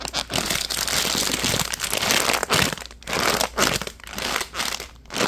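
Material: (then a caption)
Plastic. A hand-sized, soft purple printed plastic pouch with a cartoon tiger print is held in both hands while fingertips crumple and crinkle it. The result is dense, bright crackling in uneven bursts, separated by brief quieter dips near the end.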